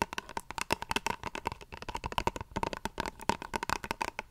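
Long fingernails tap and scratch repeatedly on a small plastic face wash tube held near the mic. The result is a rapid, uneven run of short, dry clicks with a hollow plastic tone around 900 Hz, mixed with brief scratchy rasps and very little ring.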